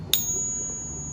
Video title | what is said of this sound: Silver Price to Crash? Big Hyperinflation? Hugh Opportunities? Stackers Talk Silver! #Silver #Gold | a different metal is going to have a different sound, right? It's just physics.